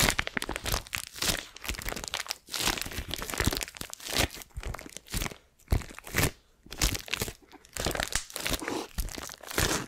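Long acrylic nails scratch and crinkle the clear plastic shrink wrap tightly covering a pink, flat, Mickey-head-shaped cardboard gift box with a teal ribbon bow, held in both hands. Dense, bright crinkling and crunchy scratching come in uneven bursts with brief quiet gaps, and each sound stops quickly with almost no ring.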